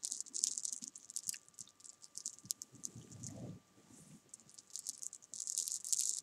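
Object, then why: Small jelly bean candies on a soft surface, scratched with fingernails. Long painted nails push and scratch a row of small solid jelly bean candies on a sofa, making a dense, bright rattle of quick clicks and scrapes. The sound comes in bursts, loudest at the start and end, with a soft low rustle in the middle.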